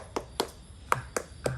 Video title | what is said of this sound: วิธีปอกทุเรียนง่ายๆ ใครๆก็ทำได้ภายในบ้าน ฟังให้ครบแล้วจบเรื่องของทุเรียน (How to peel durian “Easy”) | เสียงฟังพงษ์อันนี้ยังครับนี่หลายวันเลย